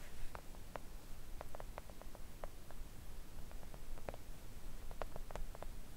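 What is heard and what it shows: Long coffin-shaped press-on nails gently tap a thin, solid, flat pink silicone nail art mat lying on a table. The result is a scattered series of soft, quick clicks with almost no ring, over a quiet, low rumbling background.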